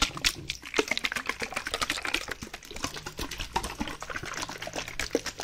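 A white plastic bottle, partly filled with water, is shaken back and forth in hand, producing a continuous run of quick, bright sloshing and splashing bursts. The water swishes rapidly against the plastic walls, and each slosh stops short with almost no ring, over a faint low hum.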